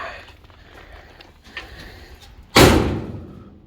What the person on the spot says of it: you gotta love a car door. It sounds solid when it closes, and that is the most solid that door has ever closed.